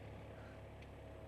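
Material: Nothing is struck.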